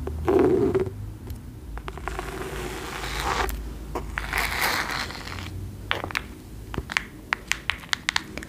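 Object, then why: Cloth-bound hardcover book. Long nails scratch and trace along the fabric cover and label of a cream cloth-bound hardcover book held upright. The result is a soft, dry scratching and brushing hiss in waves, followed by a series of sharp, quick clicks near the end.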